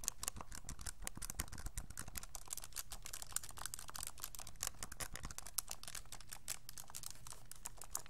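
A hollow, handheld pink-and-white plastic graphing calculator is held in both hands while fingertips rapidly press and click its rubbery plastic keys. The result is a fast, steady stream of short, dry, bright clicks and taps with almost no ring, over a soft low rumble.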